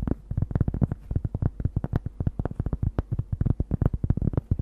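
A large, thin, round solid cork disc, held in both hands near the microphone, is tapped and scratched with long nails. About 28 quick, dull taps come in an irregular stream, each dying away almost at once, with a soft low, bassy thump around 117 Hz and a faint scratchy texture between them.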